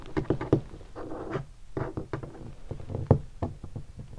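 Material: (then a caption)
Leatherette. Fingertips tap a hollow guitar hard case covered in black leatherette and stickers, striking it in several spots. The result is a series of soft, hollow, low thumps with very short decay, mixed with a few brief brushing rubs across the surface.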